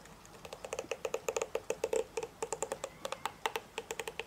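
Fingertips and nails of one hand strum and scratch across the dense thin plastic bristle tips of a hand-sized hairbrush with a black plastic body, held in the other hand. About thirty quick, dry, bright clicks follow one another in an uneven, keyboard-like rhythm, each dying away almost at once.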